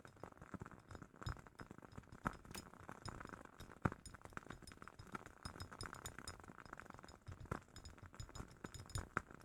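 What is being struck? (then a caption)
Glass candle jar. A glass jar of a woodwick candle is tapped in a steady, quiet run of light clinks. Each tap is short and bright with almost no ring, over a soft low rumble, and a few taps land louder than the rest.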